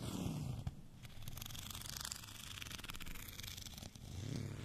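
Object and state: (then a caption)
Textured plastic rolling pin. Fingernails scratch across a white, bumpy textured plastic rolling pin held at an angle. The result is a steady, dense scratchy rasp with a bright, gritty texture over a low rumble, with a brief dip in level near the end.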